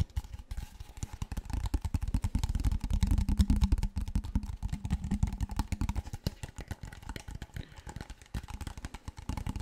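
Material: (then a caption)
Plastic. Fingertips and nails tap and scratch a large, clear, seemingly empty PET plastic water bottle held sideways and upright. The result is a rapid, irregular patter of dull, hollow, low thumps with faint crinkly scratching. It swells louder in the middle before easing back.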